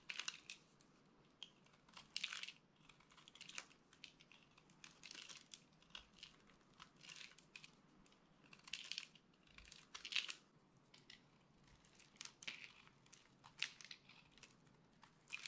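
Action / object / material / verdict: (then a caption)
scrape / bar of soap / soap / none. A solid, hand-sized bar of dry soap, yellow with a purple painted layer, is held in one hand and scraped and carved with a small metal utility blade, chipping off crunchy cubes and curls. Quiet, bright, dry crunching and crackling scrapes come in short bursts and quick clicks, with no ring after each cut.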